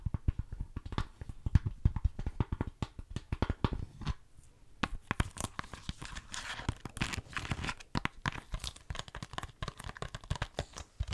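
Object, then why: Hard plastic game case. Long nails tap and scratch the back cover of a hollow, hard plastic DVD-style *GTA San Andreas* PlayStation 2 game case. The result is a rapid run of dry, clicky taps with a low, hollow body and almost no ring. After a brief pause near the middle, the taps mix with brighter, rougher scratching.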